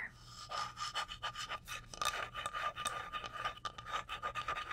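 A flat, solid, light wooden cutting board about 30 cm across is held up and scratched and tapped on its face with long blue acrylic nails. The result is a rapid run of bright, dry rasping scratches and short clicky taps with almost no low end, over a faint steady tone near 1.2 kHz.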